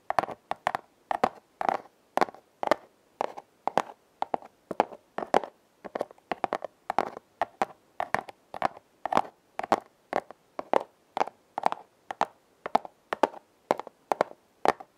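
Long red-painted nails scratch and tap along the ridges of a flat, hand-sized red corrugated cardboard heart, possibly a hollow heart-shaped box, held upright. Dozens of quick, dry, papery taps and scratchy strokes come in rhythmic clusters, centered in the midrange with a bright edge and no low end. Each hit dies away almost instantly.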